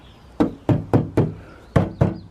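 Knocks on the inside panel of an Xterra tailgate after sound deadening was added: Dynamat bits and underhood heat foam on the back of the panel. Six short, dull, low knocks with little ring are heard, sounding less hollow than before the deadening.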